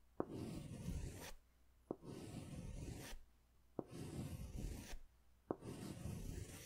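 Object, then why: Wax crayon on a paper sketch pad. A green crayon is scratched in strokes along the bottom edge of a large white paper sketch pad held upright. Four separate strokes are heard, each opening with a sharp tap and followed by about a second of rough, rasping scratching with brief quiet gaps between them.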